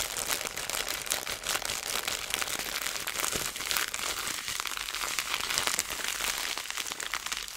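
A clear plastic zipper bag filled with small seeds is squeezed between fingers, then held by a corner and dangled so the seeds shift inside. The result is a dense, continuous stream of bright, crisp crinkling and fine rustling with almost no low end. It stays at a steady level, with small bursts as the seeds move.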